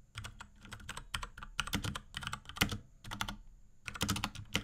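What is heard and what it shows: Fingertips of both hands type rapidly on a small pink Akko X Ducky 3084 mechanical keyboard with Cherry MX Brown switches, plastic keycaps and a plastic case. Dense bursts of short, bright plastic clacks with a low thock under them die away almost instantly, broken by brief pauses. A faint steady high tone runs underneath.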